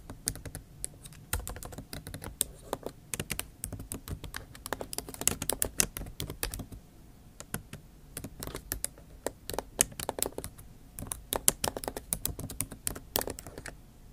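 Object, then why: Laptop keyboard with plastic keycaps in an aluminium body. Long nail tips type on a backlit MacBook Pro keyboard with plastic keycaps set in an aluminum body. Bursts of rapid, bright, clicky taps run with brief pauses, each tap dry and quickly gone, over a faint low hum.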